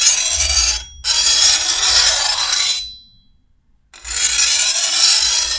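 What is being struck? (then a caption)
Steel machete blade. A hand-held steel file is drawn along the edge of a long, thin, solid steel machete blade. It makes three bright, hissing rasp strokes with faint high ringing tones, separated by short pauses. A near-silent gap comes before the final stroke, which runs to the end.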